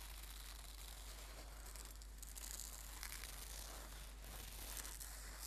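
Hands squeeze and crinkle the fabric of a red and gold embroidered silk brocade singing bowl cushion. The result is a quiet, continuous, bright crinkling and rustling over a steady low hum underneath.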